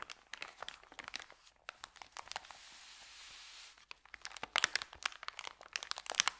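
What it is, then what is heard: Paper bag being crinkled. Fingers tightly roll up a thin, empty white paper sandwich bag, producing dense, bright crinkles with no low end. Midway the crackling gives way to a smooth, steady rustle for about a second and a half, then sharper, louder crunches return until the end.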